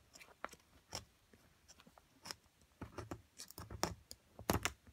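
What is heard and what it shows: A metal chisel scrapes and chips at a solid plaster excavation block held in a hand with long nails. It makes an irregular string of short, dry, crunchy scrapes and taps, some with a bright edge, that stop quickly against a quiet background.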